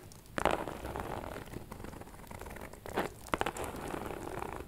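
A small, hollow pink metallic faux leather shoulder bag with a chain strap is held up and scratched across its front with long nails. The result is a soft, dry crinkling scratch with brief louder bursts of rasping friction. The sound is mostly mid-range and has little high brightness.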